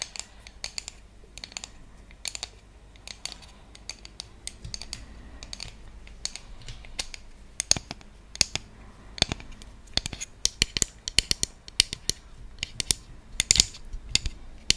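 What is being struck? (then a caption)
Bamboo trivet. A round bamboo trivet with decorative cut-outs is held in both hands and tapped and scratched with long nails and fingertips. Quick, sharp, bright clicks come in irregular bursts over a soft, steady scratching, growing denser and louder toward the end. Each tap is dry and dies away almost at once.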